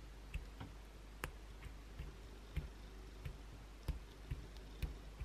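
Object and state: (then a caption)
Bar of soap scratched with fingernails. Long, pointed blue acrylic nails scratch the edge of a solid white bar of soap held upright, with flakes falling onto a towel. Six soft, dry scratching clicks stand out at uneven intervals over a steady low rumble, each with a brief bright crackle on top.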